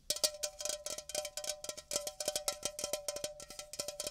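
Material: Aluminum.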